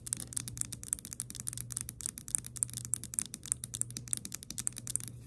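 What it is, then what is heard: Glass perfume bottle. A round pink glass perfume bottle named "Beautiful Dreams," partly filled with liquid and topped with a plastic flower cap, is tapped and scratched on its glass body with long nails. A rapid run of sharp, dry clicks rises over a steady low hum, each click bright and high with almost no ring. The strip shows about thirty separate taps.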